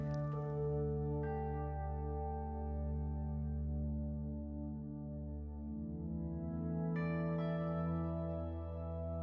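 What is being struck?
Nothing is struck.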